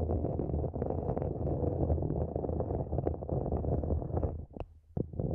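Long nails scratch the sides of a small, empty, matte black hollow plastic planter pot held upside down over the microphone. The result is a dense, muffled, rumbling scrape that is heavy in the low end with almost nothing bright. It drops briefly near the end before a few sharper scratches return.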